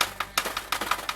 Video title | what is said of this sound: Ekogroszek Sztygar Ultra 26 - 28 MJ cz. 2 - opinia z palenia | jeśliby ktoś miał wątpliwości czy to jest kamień czy nie to po prostu to słychać